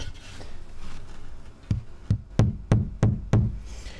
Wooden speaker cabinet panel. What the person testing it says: it's a pretty beefy thump